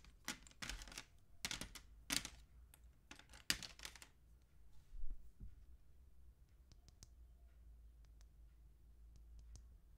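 Long acrylic nails tap and click on the painted surface of a small, solid yellow painted wooden mini Christmas ornament figure, a vintage retro piece held close. The first four seconds bring dense bursts of bright, dry clicking and scratchy tapping. After that, only a few faint, sharp ticks remain over a quiet low background rumble.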